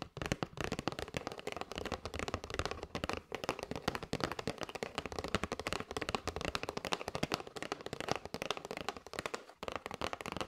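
Long white nails tap rapidly and continuously on the edges and front of a hand-held kraft cardboard box full of paper straws. Each tap makes a short, dry click with a bright top and a little low body, barely ringing. The clicks run in a dense, uneven stream for the whole clip.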